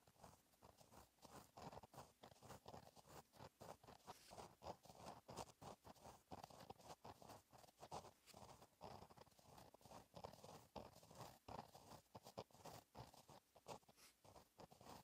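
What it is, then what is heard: Pen writing on a paper notebook page. A gel pen held in the fingertips writes cursive on a flat, black, lined paper notebook page, scratching continuously. The sound is a steady, quiet run of short scratchy strokes, with body around the low midrange and a faint bright hiss. The strokes blur together too closely to count.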